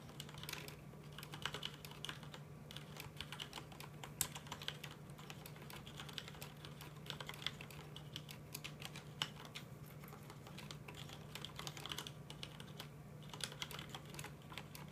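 Both hands tap the red keycaps of a full-size black plastic mechanical computer keyboard with their fingertips, producing a steady stream of quick, bright, clicky keystrokes. A constant low hum sits underneath the typing throughout.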